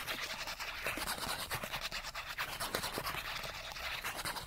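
A small, flat cardboard chipmunk card is held between the fingers and scratched fast with fingernails along its edge and face. The result is a dense, continuous, bright rasping scratch with quick irregular strokes and little low end.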